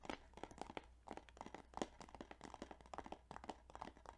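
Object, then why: Plastic video game case. Fingers tap quickly and repeatedly on a plastic Yu-Gi-Oh! Duelist of the Roses video game case, making short, dry clicking taps with a crinkly, crunchy edge. The taps come in an uneven rhythm over a faint low hum and die away almost instantly.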